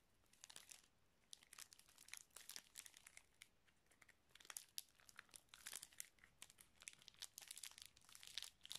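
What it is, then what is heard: Plastic zip-lock bag. A small clear plastic zip-lock bag with red stripes near the seal, filled with small colourful items, is held close up and crinkled and squeezed by fingers. It gives bright, crisp crinkling bursts, mostly in the high range with almost no low end, in irregular clusters separated by brief quiet gaps.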